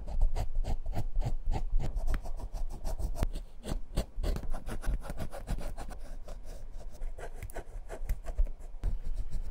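A metal scribe tip is scratched in quick, repeated strokes along the tread segments of the worn rubber outsole of a very old Clarks leather shoe held in the hand. The result is a dense series of short, dry scraping ticks with a dull, low-heavy body and no ring.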